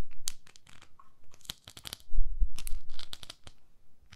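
Long nails scratch the textured surface of a palm-sized beige silicone facial cleansing pad held up in one hand. The result is a quick, irregular run of bright scratchy ticks and crinkly crackles, with a louder stretch of low rumbling brushes partway through.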